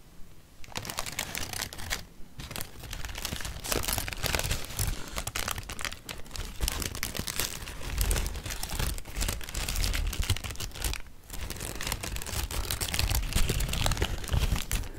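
A sheet of thin blue tissue paper held in both hands is crinkled and crumpled with the fingers for about fifteen seconds. It makes a dense, continuous stream of bright, crackling rustles with a soft low rumble underneath, and short lulls near two and eleven seconds.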